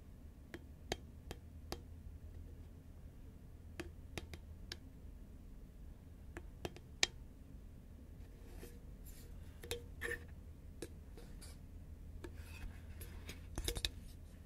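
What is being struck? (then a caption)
Cardboard snack tube. A green Pringles cardboard tube, held upright and then turned horizontal, is tapped with long nails. Sparse, sharp, quiet clicks ring out with bright tops and very short decays, over a steady low hum.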